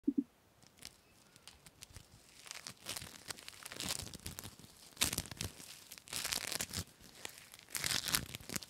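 Hand-sized foam bead slime (floam), a soft, sticky mass packed with small yellow and blue polystyrene foam beads, is squeezed, pulled apart and pressed by fingertips with dark painted nails. It gives bright, crinkly, sticky crackles and tearing sounds in dense bursts, louder around five seconds and again near six and eight seconds.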